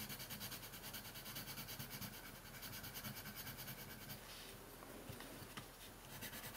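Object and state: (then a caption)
Colored pencil shading on paper. A hand makes fast shading strokes with a red/pink colored pencil on a thin printed paper coloring sheet lying flat on a wooden table. The pencil lead scratches across the paper in a steady, quick back-and-forth rhythm with a bright, hissy texture. It is quiet and continuous, easing slightly partway through before the strokes pick up again.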